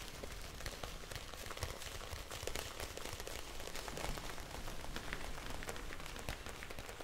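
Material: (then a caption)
Plastic. A clear, hand-sized plastic bag full of blue gel beads is tilted and shaken so the beads shift inside, and it is tapped with long nails. The result is a steady, soft, crackly patter like rain on a surface, with low rumble and scattered sharp, bright ticks running throughout.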